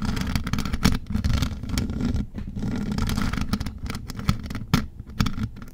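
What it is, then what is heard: Rhinestone-covered microphone grille scratched and tapped. Long gold metal nail claws scratch and tap the mesh metal grille top of a large rhinestone-covered USB microphone. A dense, low, rumbling scrape runs throughout, broken by quick taps with short, bright clicks that die away almost instantly.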